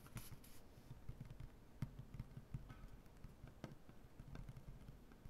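Fingernails scratch across a large, solid wooden butcher-block tabletop, hands first flat and then curled. The result is a quiet, low, rumbling scrape broken by soft thuds and a few sharp, bright clicks that die away instantly.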